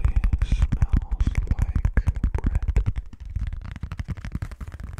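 An orange plastic Pyrex lid, with its Pyrex logo showing, is held in both hands and tapped and scratched with fingertips and nails. The result is a fast, uneven run of short, dull, low-pitched taps with little ring, softening over the last couple of seconds.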